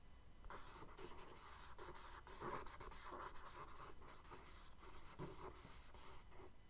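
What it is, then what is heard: Charcoal scratching on kraft paper. A charcoal stick held in the fingers scratches wave strokes across the lower left of a tan kraft paper sketchbook page. The result is a steady, gritty scratching and rubbing with a bright hiss, broken by short pauses between strokes over a low background rumble.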